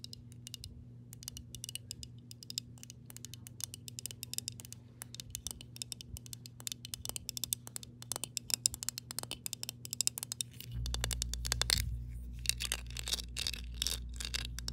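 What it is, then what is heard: Glass jar with water. Long pink nails tap and scratch the body of a clear glass mason jar with a metal lid, partly filled with water. Rapid, irregular, bright clicks and scraping ticks run throughout over a steady low hum. Near the eleven-second mark a louder low rumble joins in and continues under the tapping to the end.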